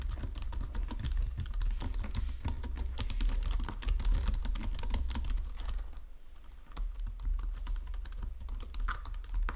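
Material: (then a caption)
Plastic. Fingertips and nails type rapidly on a white plastic Logitech keyboard resting on marble, producing a dense stream of short, dry clicks and taps. A steady low hum runs underneath, and the typing eases briefly near the six-second mark before picking back up.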